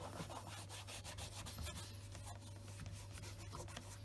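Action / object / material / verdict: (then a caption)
scrape / leather shoe / leather / none. A white cloth wrapped on the fingertips wipes the upper of the second black leather Scotch Grain wingtip shoe, which rests on a desk mat. The result is a quiet, continuous soft rubbing with a steady low hum underneath and faint bright swishes throughout.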